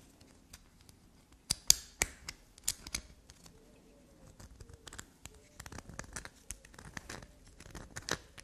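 A solid black soap bar with a grooved surface, held in the fingers, is scratched and scraped with long black nails. Sharp, bright scratches and crisp clicks come in a louder burst early on, then give way to quicker, softer scraping strokes with brief quiet gaps between them.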